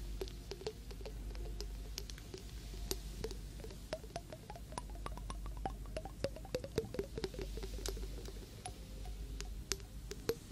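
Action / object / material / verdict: tap / small glass jar partly filled with water, metal screw lid / glass / none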